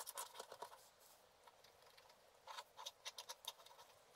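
A wooden stylus scratches dense strokes into the black coating of a flat scratch-art paper card held by hand. Quiet, bright, dry scraping comes in clusters of short rasps, with a calmer stretch in the middle and no low end. The sound is thin and high, with almost no ring after each stroke.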